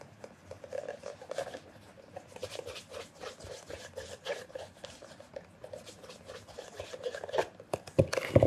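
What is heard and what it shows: A black calf-leather loafer, hollow and shoe-sized, is held on a counter while a red polishing cloth over the fingertips rubs it in rapid circles. Soft, quick swishing and squeaky rubbing strokes repeat unevenly, with a midrange ring, growing louder and brighter toward the end.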